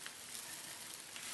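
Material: Nothing is struck.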